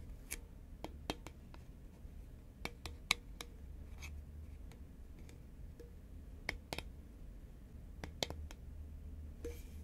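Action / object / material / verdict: tap / cardboard chip tube / cardboard / none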